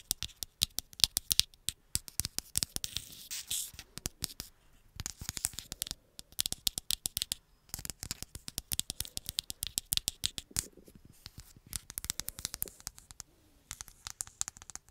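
Long acrylic nails tap and scratch the back and edges of a black glass-and-plastic smartphone tilted in the hands. The result is a rapid, steady stream of sharp, dry clicks and brushing scrapes, bright and crisp with almost no ring or low end.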